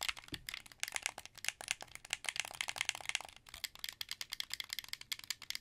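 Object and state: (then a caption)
Plastic game controller buttons clicking. Fingertips press and click the buttons of a translucent blue, hollow plastic wired Xbox 360 controller held in both hands. A rapid, uneven run of dry, bright plastic clicks and rattles follows, each snapping off almost instantly with almost no low end.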